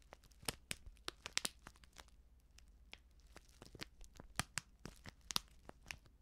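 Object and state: Plastic instant soup sachet crinkled.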